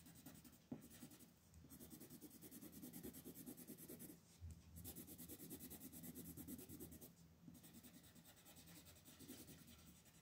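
A green colored pencil, held in fingers with long pink nails, rubs and shades back and forth across a flat printed paper coloring page lying on a table. The result is a soft, continuous scratchy rasp with steady back-and-forth strokes. It has a bright, hissy top and a brief sharp tick early on.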